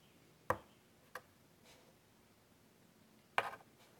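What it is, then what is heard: Chalk on a chalkboard. White chalk held in the fingertips scratches detailed curly lines on a large wood-framed chalkboard. Three short, sharp chalk strokes stand out, each a crisp midrange tick with a bright edge and a brief tail, plus a fainter soft scrape between them. The background stays quiet.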